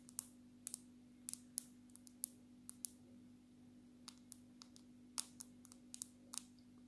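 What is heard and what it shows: Long natural fingernails of both hands tap the glass back of a black smartphone in a dark red case. About twenty sharp, bright clicks land in irregular bursts, each dying away almost instantly, over a faint steady low hum.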